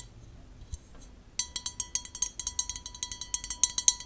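An empty, clear, hollow, tall drinking glass held in the hands is tapped on its wall and base with long nails. After about a second and a half of near silence, around twenty quick, bright clinks follow in an uneven rhythm. A faint steady glassy ring hangs beneath the high, sharp taps.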